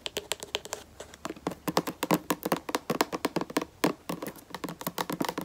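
Long nails tap and scratch the black plastic cap of a white plastic lotion bottle, then tap along the bottle's body held sideways. About 35 quick, dry, clicky taps come in uneven bursts, each bright and sharp with almost no ring or low end, with faint scratching between them.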